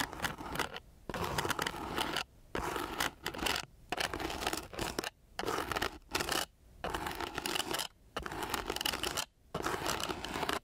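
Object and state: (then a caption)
Coarse sandpaper sheet. The tip of a thin wooden stick is scratched across a flat sheet of coarse, gritty sandpaper in repeated strokes. Each stroke is a harsh, broadband rasping scrape with a bright, hissy edge, separated by short silent pauses.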